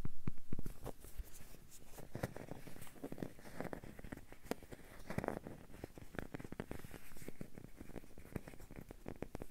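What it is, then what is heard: Rubber duck toy. A small hollow yellow rubber or vinyl bath duck with a dark base is held close in both hands and scratched and tapped with fingertips and nails. It makes quiet, dense, irregular tapping and scratching: short dry clicks and soft hollow thuds that die away almost at once. The sound is loudest in the first half-second, then settles into a steady, soft patter.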